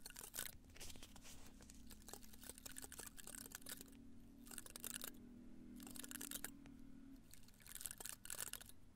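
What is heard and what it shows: A small cactus in a red-brown pot is held in both hands while fingertips and nails rub and scratch the spines on the side facing the microphone. The result is a quiet, dense run of bright, crackly scratching in uneven bursts, with short pauses and a faint low hum underneath.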